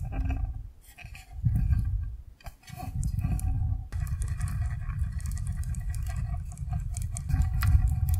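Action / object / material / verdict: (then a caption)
shake / plastic box filled with gel water beads / gel beads / none. A clear rectangular plastic container full of yellow gel water beads is held at an angle and shaken by hand, with fingers resting on its side. A dense, irregular low squishy rumble and pattering of the beads shifting and sloshing swells and fades with the shaking, with a brief lull before settling into steady agitation.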